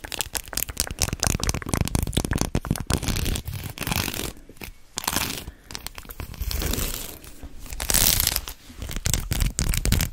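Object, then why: Faux-leather belt with metal studs. Long acrylic nails tap and scratch along a long white faux-leather belt with round metal studs as it is held in both hands close to the mic and flexed. The result is a dense stream of quick clicks, scrapes and crinkly rustling, heavy in the low end with bright, hissy bursts. The loudness swells and dips over the ten seconds.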